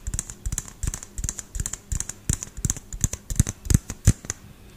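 Fingernails and fingertips tap quickly on the frosted plastic dome of a small, hollow LED light bulb held in one hand. The taps come as dry, clicky bursts in an uneven, fast rhythm, each pairing a low hollow knock with a bright tick. They stop dead with no ring.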